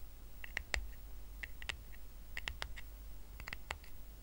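Fingertips and nails scratch the surface of a small, round, flat woven rattan coaster resting on a blanket. The result is quiet, short, bright, crackly scratches that come in irregular clusters over a steady low hum.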